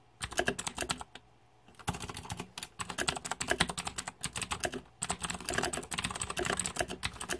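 Fingertips type on the plastic keycaps of a green-backlit Razer 2014 Deathadder mechanical keyboard. Rapid bursts of bright, sharp clicks come in quick flurries, with brief pauses near 1 and 4.5 seconds. Each keystroke is short and dry, with almost no ring.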